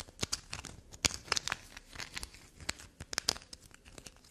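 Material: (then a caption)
Soap. A small, solid black soap bar is held and scratched and scraped with long black nails. The result is a rapid series of crumbly scraping and crinkling sounds. The sharp bursts are bright and high, with little low end.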